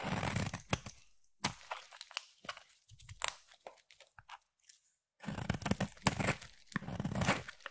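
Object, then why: Bar of soap. A utility knife blade shaves curls off a solid white bar of soap with a pink tint, making dry, crunchy scraping and tearing sounds. The scrapes come in uneven bursts separated by short quiet pauses, with a denser, steadier run of shaving near the end.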